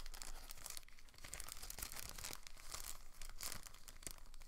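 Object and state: Thin plastic packaging bag.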